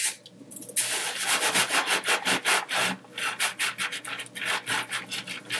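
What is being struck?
Colored sanding sugar crystals.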